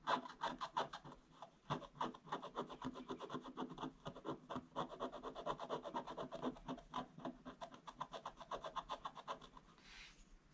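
A wooden stick scratches a flat, solid, black-coated scratch-art page in dense, rapid strokes, about four per second in an uneven rhythm. Each stroke makes a dry, rasping scrape centered near 1 kHz with bright edges, and the strokes fade to a faint hiss at the end.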